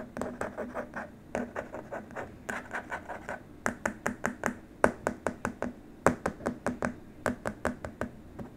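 Short nails on both hands scratch the surface of a long, flat, white, rigid plastic keyboard wrist rest. A steady but uneven run of quick, dry scratching strokes comes at about two or three per second, each a crisp mid-pitched rasp with a bright edge that stops almost instantly. Some strokes land harder and louder than others.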